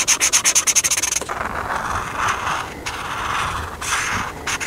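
A hand colors the camper page of a paper coloring book with a felt-tip marker, rubbing and scratching the tip across the thin paper. It opens with about a dozen quick, bright back-and-forth strokes, then settles into longer, steady scratchy rubbing with a few short pauses.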